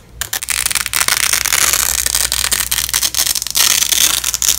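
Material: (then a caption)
Nylon. A long, flexible yellow and black nylon hook-and-loop velcro strap lying on a bedsheet is pulled and peeled apart by black-gloved hands. The result is a dense, crunchy ripping that is bright and high, continuing in uneven bursts with brief dips between pulls.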